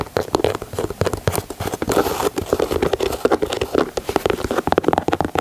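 Fingernails tap rapidly across the leather panels and toe of a white leather Air Jordan 4 sneaker. A dense stream of short, dry clicks and soft pats with a muted midrange body and almost no ring.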